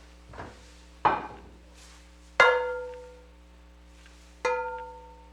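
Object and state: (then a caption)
Cast iron pan that rings. A heavy cast iron pan is tapped three times, each tap giving a clear, bell-like ring with bright tonal overtones that fade over a fraction of a second. The ringing tone is normal for the iron pan and contrasts with the flat sound of the other pan.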